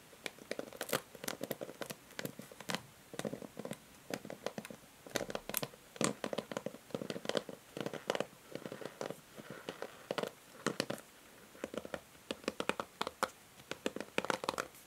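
Long manicured nails stroke and scratch across the many plastic pins of a handheld pink plastic paddle hair brush, which has a hollow body, a white cushion pad and pink ball-tipped pins, held in the other hand. The pins flick with rapid, dry, crackling clicks that carry a bright edge over a hollow mid-range tone, bunching into quick bursts and short runs with brief pauses between.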